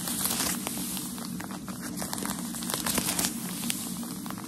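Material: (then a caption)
Paper. A bundle of white tissue shoe-packaging paper is held in one hand while the fingertips and nails of the other hand tap and scratch its top. The result is a continuous bright crinkling and rustling, with sharp scratchy ticks scattered throughout over a steady low background hum.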